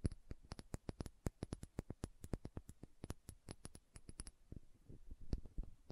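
Long nails tap and scratch the body of a small dark green glass serum dropper bottle held sideways. A quick run of sharp, dry clicks with a faint bright ring gives way near the end to softer, scattered scratching, each tap dying away almost instantly.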